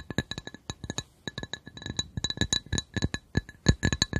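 A glass coaster is tapped in a quick, uneven series of short, dry clinks. Each tap has a low thump and bright ringing overtones, with a brief pause near the one-second mark.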